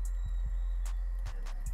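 A removed PCV valve from a Honda Accord engine is shaken by hand, giving short, sharp internal clicks over a steady low hum. The clicking shows the valve is working; a valve that makes no click is likely bad and causes oil loss.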